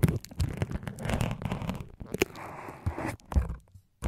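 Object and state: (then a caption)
Foam microphone windscreen being poked. A thin syringe needle pokes repeatedly into the white foam windscreen covers on a microphone's capsules while fingers hold the foam. The result is a close, dense run of soft crunching, scraping and crackling, mostly low and muffled, with short dry taps that die away almost instantly.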